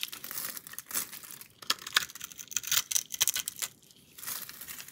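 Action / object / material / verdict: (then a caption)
scrape / bar of soap / soap / none. A box-cutter blade is drawn across the scored, cube-cut face of a palm-sized solid reddish-pink bar of soap held in one hand, scraping and cutting off small cubes. Dry, bright crackling and crisp scraping come in irregular bursts, punctuated by sharp clicks as pieces snap free, with a brief quieter pause before the scraping resumes.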